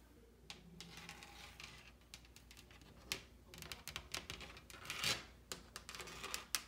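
Long pink acrylic nails tap and scratch a large, solid, white-painted wooden panel door with raised molding near the latch. Quiet, sharp, clicky taps mix with bright, dry scratching, each tap dying away almost instantly.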